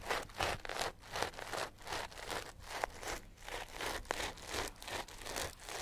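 A sisal rope-wrapped cat toy held in the hands is rubbed and scratched with nails and fingertips. It makes a steady run of rough, dry, scratchy bursts, somewhat irregular and about three per second, with bright fibrous texture and a couple of brief sharp ticks.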